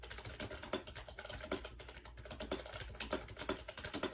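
Fingertips rapidly type on a compact gray plastic AJAZZ 308i wireless Bluetooth keyboard with round keycaps and a hollow shell, resting on a bed. Quick, light plastic taps run in a steady stream, with a few louder clacks standing out. Each keystroke is short and hollow-sounding, dying away almost at once over a faint low hum.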